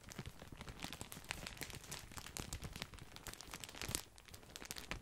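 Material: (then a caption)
Plastic. A large, full, white printed plastic bag of grissini breadsticks is crinkled and squeezed with the fingertips. The result is a dense stream of sharp, bright crackles and crunches with a low rumble beneath.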